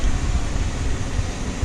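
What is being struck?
Nothing is struck.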